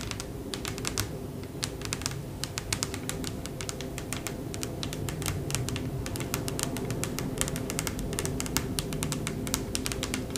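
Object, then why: Wooden tabletop. Long acrylic press-on fingernails on both hands tap rapidly across a large, solid, light wooden (bamboo-look) tabletop, while a candle sits untouched on the table. The taps come as a dense, irregular stream of sharp, bright clicks over a steady low rumble, and each one dies away quickly.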